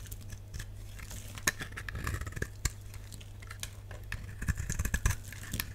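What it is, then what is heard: Dry bar soap. A utility knife blade scrapes and cuts a solid, dry purple bar of soap held in the hand, and shavings break off. Short, dry scraping strokes and sharp crackling snaps repeat over a steady low hum, each one fading almost instantly.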